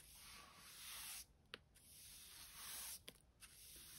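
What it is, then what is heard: Brushing a concrete floor. A short-handled hand brush with stiff natural-colored bristles, held in one hand, sweeps in quick back-and-forth strokes across a large, smooth, bare concrete garage floor that is solid and mostly clean with light dust. Two long, bright, hissy scraping strokes are separated by brief quieter pauses with sharp little ticks from the bristles.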